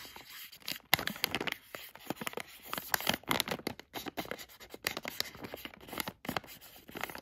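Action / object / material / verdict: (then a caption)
scrape / thin plastic bag of plastic floss picks / plastic / none. A thin black tweezer tool traces and scratches across a hand-sized Plackers dental flossers bag, made of thin plastic with a clear window and full of plastic floss picks. The result is a rapid series of bright, crinkly scratches and scrapes with almost no low end. Each stroke stops short, with no ring afterward.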